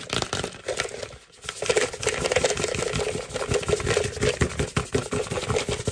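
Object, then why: Hollow plastic trick-or-treat bucket. A hollow, head-sized orange plastic jack-o'-lantern trick-or-treat bucket with a black handle is tapped and drummed quickly with fingertips and short nails. Dense, fast hollow thumps mix with sharp, bright nail clicks, with a brief lull just past the first second before the drumming picks up again.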